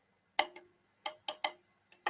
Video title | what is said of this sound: Antiques Dealer Vlog film More House Clearance Items Reveal | Listen to that dull thud. That tells you all you need to know.